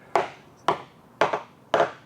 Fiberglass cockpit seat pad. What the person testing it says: if by chance there is core in here it's definitely not delaminated